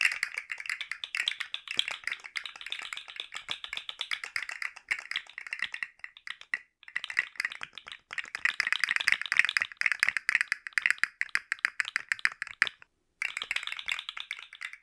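A rainbow segmented plastic articulated slug fidget toy is dangled from the fingertips and shaken, its jointed plastic segments clicking and rattling in a dense, rapid stream of dry, short ticks. The sound is bright and midrange-focused, with no low end. It breaks off briefly twice before resuming.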